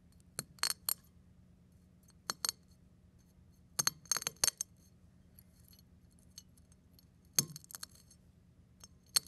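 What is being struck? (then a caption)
Eggshell on a ceramic plate. A fingertip presses a brown eggshell half and its fragments on a ceramic plate, crushing the shell into flakes. The result is bursts of sharp, bright, glassy crackles and clinks that stop almost instantly, separated by quiet gaps over a faint low hum.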